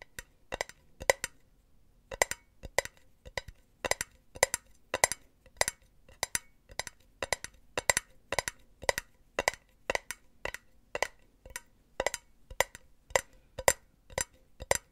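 Long painted nails tap and scratch a hollow, empty silver metal mesh pen holder. Dozens of short, bright, clicky taps come in a steady, quick rhythm, each carrying a faint metallic tone and dying away almost instantly. There is a brief pause near the start.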